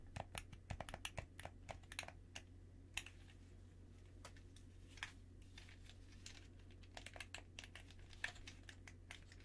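Fingertips in white cotton gloves press and click the buttons and sticks of a hollow, black plastic handheld gamepad held in both hands in front of the chest. Sharp, bright plastic clicks come in irregular bursts and single taps throughout. A steady low hum sits underneath.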